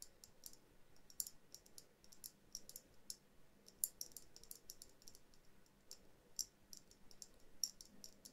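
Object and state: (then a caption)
Glass ornament dome. Long dark-blue nails tap and scratch a small hollow glass dome ornament held in both hands; it holds a Christmas tree and has snowflake stickers, a jute-wrapped base and a twine hanger. Quiet, irregular, quick bright clicks and taps with no ring sound over a soft scratchy rustle.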